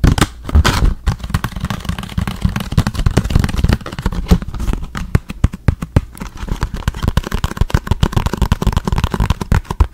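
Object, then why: Small cardboard box. A small, hollow, orange printed cardboard product box is held up beside the mic and tapped and scratched with the fingertips. Rapid, dry, hollow taps and thumps run throughout, heavy in the low end with a little bright scratching, and each hit dies away almost instantly.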